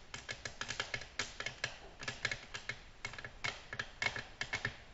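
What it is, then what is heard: Glass tabletop tapped with fingernails. Long natural nails tap a flat, solid, glossy black glass tabletop in a quick, uneven flurry. Each tap is a sharp, bright click with a faint glassy ping and almost no ring, over a quiet background.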